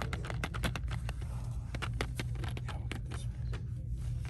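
Long dark-painted fingernails tap and scratch the hollow clear plastic blister of a hand-sized retail toy package, which holds two small fingerboard skateboards and parts on a yellow cardboard card. Rapid, crisp clicky taps and brief scratches run throughout over a steady low rumble.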